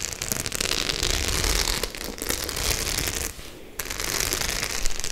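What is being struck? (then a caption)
Faux-leather clutch bag with metal studs. Long nails scratch and tap quickly over the metal studs of a white studded faux-leather clutch bag, making a dense, bright crackling scrape with rapid clicks. The sound runs almost continuously, dipping briefly near the end before resuming.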